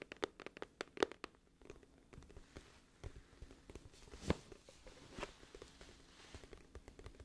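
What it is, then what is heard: Cardboard album case tapped and scratched with nails. Long acrylic nails tap and scratch the front and edge of a flat, hollow, glossy printed cardboard music album case, about CD-to-book size and held in one hand. Sharp, short clicks ring out irregularly, loudest near the first second and again past the four-second mark. Soft scratching fills the gaps, with dry taps that die away almost at once.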